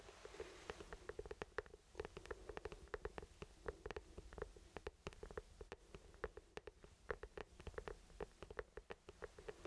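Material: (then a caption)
Plastic. Fingertips tap and rub an orange hollow plastic traffic cone, about 30 cm tall with the word CALM written on it, held in both hands. Quiet, rapid, irregular dry taps with a short hollow knock near 440 Hz and bright clicky edges ring out over a soft continuous rubbing hiss.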